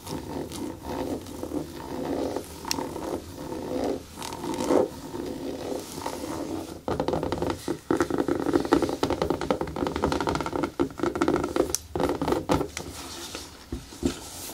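Long nails tap and scratch the shaft of a single black natural rubber boot, hollow and empty, standing on a table. Dense, quick taps and rasping scratches blend into a continuous stream with a hollow, muffled midrange body. Short bursts of brighter scraping cut through at times.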